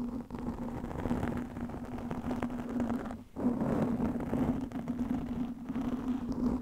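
Long nails scratch a black, soft porous foam windscreen over a microphone, making a continuous rough rustling scrape with a steady low hum beneath it. The scratching runs almost without pause, dropping out briefly just past the three-second mark before resuming as loud as before.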